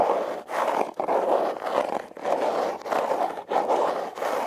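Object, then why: Heart-shaped corrugated cardboard box. Long red nails scratch the ribbed surface of a hollow, red, heart-shaped corrugated cardboard box. The result is a steady run of raspy, papery scraping strokes centred in the mid-range around 590 Hz, with brief dips between each pass.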